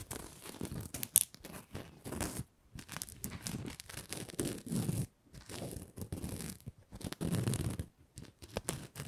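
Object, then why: Stiffened fabric ribbon bow. A red-and-white patterned Christmas bow made of stiffened fabric ribbon is held in both hands while fingers and nails rub and scratch across it. This produces dense, close, papery scratching and rustling with a soft low body and bright crackly edges, in bursts broken by brief silent pauses.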